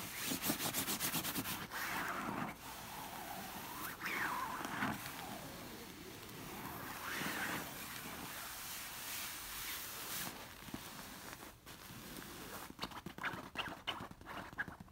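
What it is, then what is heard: Silk-covered pillow. Long nails scratch and rub across a large, soft orange stuffed pillow covered in silky fabric. The result is a steady, dry, bright hiss of scratching with rising and falling swishes as the nails drag over the fabric, and quicker, sharper scratches near the end.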